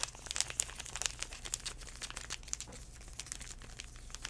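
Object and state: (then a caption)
Foil-paper wipe packet. Fingertips tap and crinkle a small sealed foil-paper sanitizing wipe packet. Quick, bright crinkles and light taps come in an uneven stream over a faint, steady low hum, with each sound ending almost at once.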